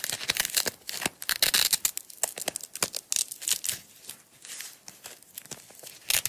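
Long white-tipped acrylic nails peel the end of a small, tightly wound coil of yellow nylon hook-and-loop strap off the roll and press it back, the roll held in the fingers. It makes repeated bright, crackly tearing rips in quick bursts, almost entirely high-pitched with little low end. Quieter pauses fall between the bursts.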